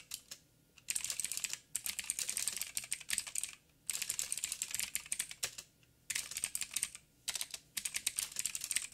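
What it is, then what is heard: Plastic mechanical keyboard. A backlit 87-key mechanical keyboard with plastic keycaps and clicky blue switches is typed on by fingertips of both hands. Bursts of rapid, bright, sharp clicks come in several runs, separated by short quiet pauses.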